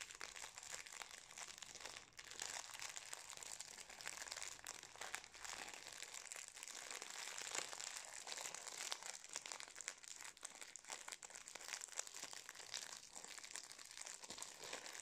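Fingertips rub and crinkle the metallised plastic wrapper of a full, still-wrapped Napolitain cake. The result is a steady, dense stream of quiet, bright crinkling and crackling with almost no low end, continuing for about fifteen seconds without a break.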